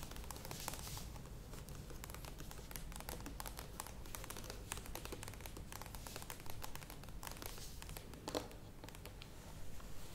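Long nails scratch and tap the sides and lid rim of a medium plastic yogurt tub standing upright. A steady stream of crinkly, crackling scratches is broken by short, sharp, bright taps, all at a quiet, even level over a low background hum.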